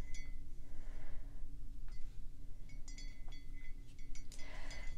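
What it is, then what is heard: Ceramic coffee mug. Long pink acrylic nails tap the outer wall of a hollow, matte black ceramic coffee mug held in the hands. Quick, bright clicks bring out a short, clear ringing tone over a steady low hum.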